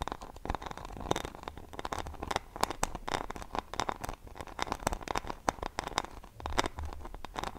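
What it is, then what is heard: Rhinestone-covered hairbrush. Long painted fingernails scratch and tap the small, solid back of a handheld paddle hairbrush covered in glued-on rhinestones and pearls, with a silver plastic handle, held close to the microphone. A dense stream of dry, crackly scratches and sharp clicking taps sits mostly in the mid range, with a soft low rumble underneath. Each tap stops almost instantly with no ring.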